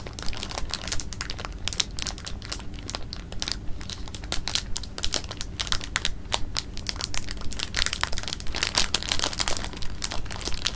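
An open clear plastic bag of jelly beans is held in the hand while fingertips stir and rub the beans and crinkle the bag. Dense, irregular crinkling and rustling is broken by many short, bright clicks and crackles over a steady low rumble, continuing without pause throughout.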